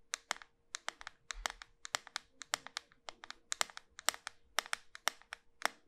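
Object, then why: Round bar of soap. A small, solid, round pink soap bar with a pearl-bead rim is held in the hand and tapped rapidly on its flat surface with long white nails. About 32 sharp, dry clicks come in an irregular quick rhythm, each bright and crisp and dying away instantly. A faint steady hum sits underneath.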